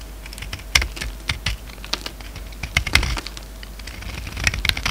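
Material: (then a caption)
Soap. A solid green bar of soap, now narrower, is held in the hand and cut with a utility-knife blade in repeated scraping strokes that break off flakes. Each stroke gives a short, dry, bright crackle with a light low thump underneath, in a quick, uneven run of sharp clicks that die away almost at once.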